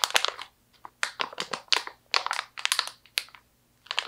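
A medium stand-up plastic pouch, partly full of slivered almonds, is squeezed, crinkled and scratched by hands with long nails. Short bursts of bright, crackling plastic crinkle come in quick clusters separated by brief silences, with almost no low end.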